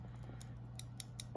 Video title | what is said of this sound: I Scored a MASSIVE Jewelry Auction Lot — You Won’t Believe What’s Inside! 💍 (Part 1) | Are these glass? Yeah, that sounds like glass. These are glass.